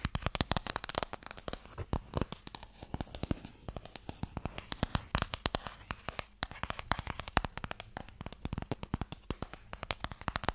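Fingertips and nails tap quickly on a long, narrow, hollow wooden Mikado box. The result is a dense, continuous stream of short, dry clicks with a bright top and a soft hollow low knock under them, each tap dying away almost instantly.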